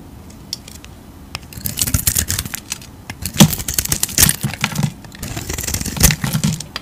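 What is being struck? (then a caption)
Soap bar shaved with a knife blade. A utility knife blade scrapes and shaves curls off the face of an oval, hand-held bar of blue soap with a glittery painted coating. After a quiet start, dry, crackly scraping strokes follow one another, bright and gritty with a soft low body. A few stronger cuts stand out near the middle and end.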